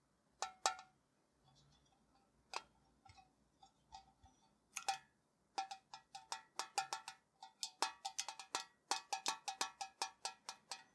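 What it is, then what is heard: Tin tea canister. A tall, hollow printed metal Ceylon tea tin, lid on and held in both hands, is tapped with fingertips and short nails. The result is a series of short, bright metallic clicks with a ringing tone around 785 Hz, starting sparse and quiet, then becoming a quicker run of about thirty taps.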